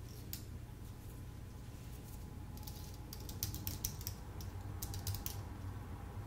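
Fingertips type on a full-size white Apple Magic Keyboard with an aluminium base and plastic keys. Light, bright key clicks come in irregular bursts, growing busier in the second half, over a steady low hum.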